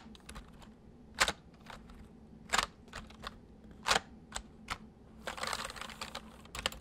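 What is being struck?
Plastic mechanical computer keyboard.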